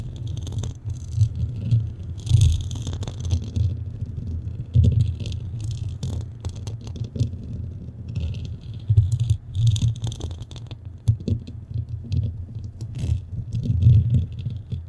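Long fingernails on both hands scratch across a black metal mesh microphone head. The result is a continuous, close, low rumbling scrape dominated by deep thuddy texture, with bursts of bright, crackly scratching that rise and fall throughout.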